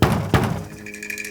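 A wall of a game set is knocked on, giving two heavy, low, booming thuds with a short ring, followed by quieter faint knocks over a steady background tone. The wall sounds hollow because a trapdoor was cut into it to build a secret room behind it.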